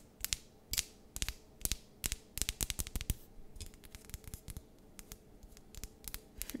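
Long nails tap and scratch a cream-colored candle in a glass jar, filled with wax and wrapped with a paper label and gold ribbon. The result is a quiet, irregular series of sharp, dry clicks with bright high overtones and almost no ring. Softer scratchy ticks fill the gaps between the taps.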